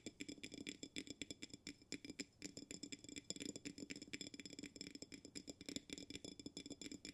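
Fingernails tap rapidly and steadily on the glass walls of a jar held upside down, with its bamboo lid at the bottom. Each tap is a short, bright click with a faint glassy ring around 270 Hz that dies away almost at once.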